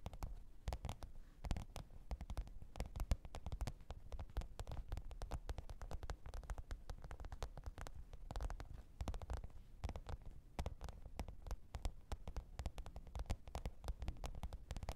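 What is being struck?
Faux-leather hard-shell zippered case.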